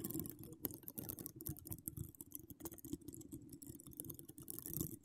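Long acrylic nails decorated with donut charms scratch and tap the hollow woven metal mesh dome grille of a large microphone. The result is a quiet, dense run of short, dry clicks and scrapes with a low, close-up thump under bright, crisp scratching.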